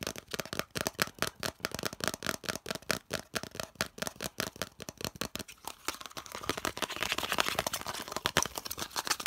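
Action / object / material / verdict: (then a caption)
tap / hollow molded plastic piece / plastic / none. Fingertips tap and scratch a hollow molded yellow plastic piece held in both hands. Rapid, sharp, bright clicking taps fill the first half, then give way to denser, hissy scratching with scattered taps.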